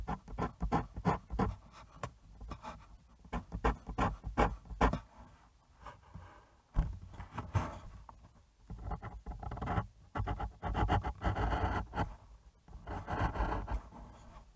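A fine fountain pen nib scratches short hatching strokes across a sheet of thin, smooth white bristol paper laid on a cutting mat and held flat by one hand. Quick, irregular bursts of dry scratching and soft taps with little ring come in clusters, with brief pauses between, and later stretches turn into denser, steadier scratching.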